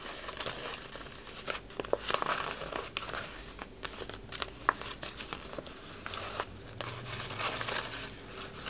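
A red patterned wrapping paper sheet, held up flat, is rubbed and scratched up close with fingertips and short nails across its crumpled surface. The result is a steady, bright crinkling and scratchy rustle broken by sharp little crackles and snaps, with almost no low end.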